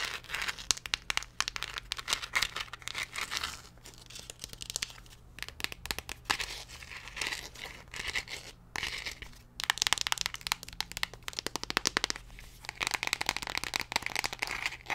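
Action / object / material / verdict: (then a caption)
scrape / plastic pill bottle with paper label / plastic / none. A small blue plastic antacid tablet bottle with a paper label, apparently holding tablets, is held in the hand while long nails tap and scratch the bottle and label. Dense, bright crinkly scratching and quick sharp taps run throughout, with a faint steady low hum underneath.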